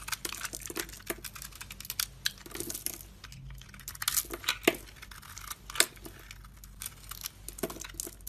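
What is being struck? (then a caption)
Bar of soap scraped with a metal blade. A metal box-cutter blade scrapes and carves thin shavings from a solid rectangular bar of soap, purple outside and white inside, held in the hand. Dense, crisp scraping and crinkly crackles with bright, high hiss come in quick irregular bursts, each dying away almost instantly.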